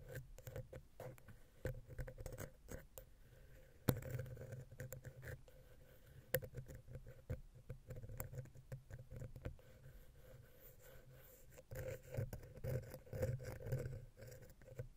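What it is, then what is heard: Metal microphone capsule scratched with a wooden pick. A wooden ear pick, held vertically, makes fast taps and scratches in the center between the two heads of a silver metal XY stereo capsule on a Zoom H6 recorder. The sound is a dense, close patter of short, dry ticks and scrapes, mostly low and boomy with a steady hum-like tone underneath. One sharp, louder tap lands near the four-second mark.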